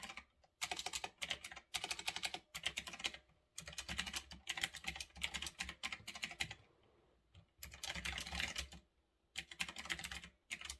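Fingertips type on a retro typewriter-style mechanical keyboard with round backlit plastic keycaps, sitting on a desk. Bursts of bright, crisp clicks come in quick runs separated by short pauses, each keystroke sharp and dry with almost no ring.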